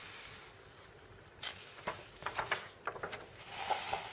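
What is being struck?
Paper magazine pages.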